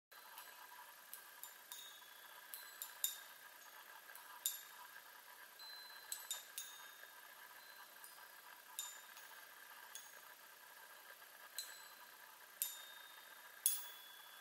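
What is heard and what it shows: Long nails tap across a small handheld chime instrument, a row of hollow silver metal tubes mounted on a light wooden frame and held in one hand. About fourteen quiet, bright, high-pitched pings sound at irregular intervals, each fading quickly over a faint steady high hiss.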